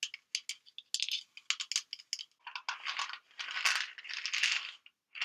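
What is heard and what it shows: A white plastic vitamin bottle with an orange cap, full of pills, is shaken sideways and tapped with long nails. Short, dry, bright clicks and rattles come in quick, uneven bursts, then build into longer, denser rattling of pills sliding inside the bottle. There is almost no low end and very little ring.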